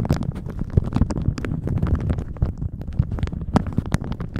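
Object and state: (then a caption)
Plastic shower cap crinkled. A thin plastic shower cap stretched over a microphone is squeezed and crinkled with the fingers of both hands. The result is a dense, continuous stream of low, rumbling crackles, with brief brighter crinkle snaps flickering throughout.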